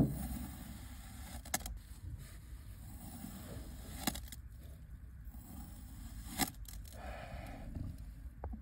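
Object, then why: Dome of kinetic sand cut with a ceramic knife. A white ceramic knife blade presses and cuts into the edge of a solid, grid-cut dome of orange kinetic sand on a white surface, crumbling the sand. A soft, low, grainy crunch runs throughout, broken by several brief, sharp ticks as the blade slices through.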